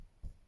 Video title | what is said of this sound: Flosstube #6 My never ending jars are an FO! Fun with WIPGO, first HAED & #firstmirabiliaSAL | so tight you can hear that like when i'm tapping on it it's like as tight as a drum